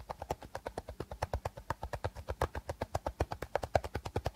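Short nails tap and scratch along the body of an empty, hollow clear plastic bottle with a teal cap, held sideways. About 38 quick, steady, hollow clicks follow one another, each a dull thud with a mid-pitched plastic tone that dies away almost instantly.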